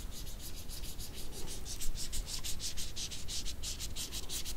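Two small, wrinkled dried red jujubes are rubbed against each other with the fingers. The result is a quick series of dry, bright scratchy rasps over a faint low rumble. The rasps come in a steady rhythm of rapid strokes.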